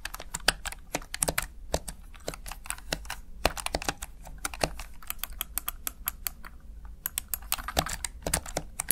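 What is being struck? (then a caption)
Plastic gaming keypad keys. Fingertips rapidly press and tap the backlit keys of a plastic Razer Tartarus Chroma gaming keypad. The result is a fast, uneven stream of short, dry clicks and clacks with bright edges, each dying away almost at once over a quiet low background.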